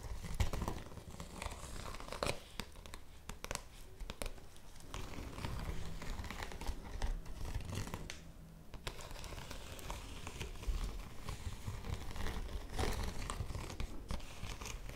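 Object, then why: Woven polypropylene bag. Long nails scratch and crumple the surface of a yellow woven polypropylene bag held against the chest. The result is a continuous, dense crinkling and scratching with rustly bursts, a low rumbling body, and brief bright transients.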